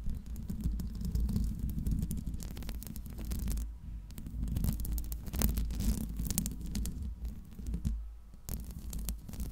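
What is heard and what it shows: Long nails tap and scratch the hollow metal mesh grille of a Blue Yeti microphone. The result is a dense, low, rumbling thump with a steady deep hum underneath, broken by quick, bright scratchy clicks.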